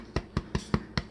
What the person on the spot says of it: the trick to telling if bread is done is to thump it. If it sounds hollow